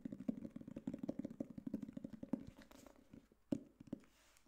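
Fingertips and nails tap rapidly on the solid board cover of a black hardcover book, making dull, hollow-sounding knocks centred around 270 Hz with almost no ring. The taps come quick and dense at first, then thin out into scattered knocks, with one sharper tap standing out near the end.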